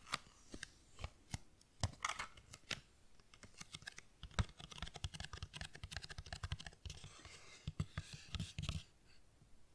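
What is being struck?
Cardboard tea box.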